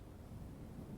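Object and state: Nothing is struck.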